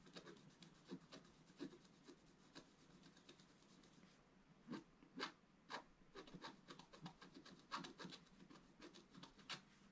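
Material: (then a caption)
Coated card. A wooden stylus scratches the coating of a flat, black-coated scratch art card in repeated strokes. The quiet, dry scratching comes as a steady run of short, bright rasps, with a few louder strokes standing out and no ring after each one.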